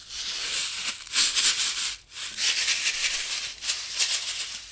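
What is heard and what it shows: A finished paper Valentine toaster shaker card is shaken, rattling the loose shaker embellishments and confetti inside its acetate window. The sound is a bright, high-pitched, maraca-like rattle that comes in uneven bursts, with a brief pause near the middle.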